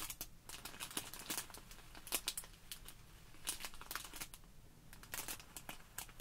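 Hands squeeze a small clear plastic bag full of tiny white polystyrene foam beads while long nails scratch and pinch its plastic surface. Quiet, bright crinkling and crackling come in quick, sharp bursts over a faint low hum.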